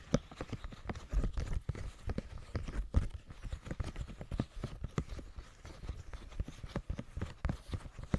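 A round, hand-sized green silicone push-pop fidget toy with hollow bubbles is pressed and popped with the fingertips of both hands, which have long painted nails. It makes a rapid, uneven run of soft, dull, low thumping pops with very short decay and almost no bright content.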